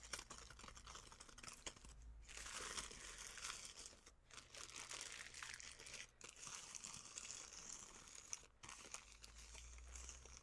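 Fingers with long painted nails squeeze, crinkle and tap a clear cellophane bag full of dark dried food. The result is a steady, bright, crackling rustle with small sharp clicks, broken by brief quiet gaps, at a soft overall level.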